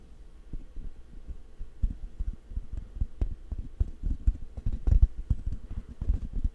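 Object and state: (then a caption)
Microphone grille rubbed and tapped. Fingertips rub and scratch the hollow metal mesh grille of a large black condenser microphone held in one hand, with thumping touches. The result is a dense run of muffled, low thumps and rumbles with almost no high content, like a throbbing heartbeat.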